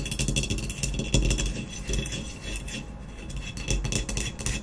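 Long nails quickly scratch and tap a hollow ceramic vase lying on its side, moving over its blue speckled glaze and matte black body. A steady run of bright, dry scratches and clicks rides over a low, hollow resonance from the vase body.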